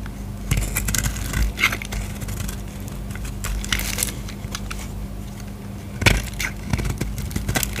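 A utility knife blade scrapes a solid purple bar of soap held in the hand, shaving off dry flakes. Bursts of crisp, crackling, crunchy scraping rise into a bright hiss over a steady low hum, with sharper cuts near the start and around six seconds.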